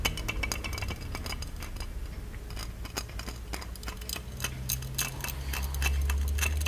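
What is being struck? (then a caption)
Small plated metal genie lamp. Fingertips and nails tap and scratch the embossed body of a small, ornate, hollow gold-plated metal genie lamp held in both hands. Quick, bright metallic ticks and light clinks come in an uneven patter, each dying away almost at once. A steady low hum sits underneath and swells toward the end.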